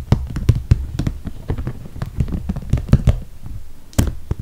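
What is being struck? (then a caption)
Soft PVC toiletry bag. Long red nails tap quickly along the top edge and zipper area of a medium clear soft PVC toiletry bag with holographic vinyl handles, full of makeup. The result is a rapid, irregular run of short, dull, low plastic taps with occasional brighter clicks that stop almost instantly.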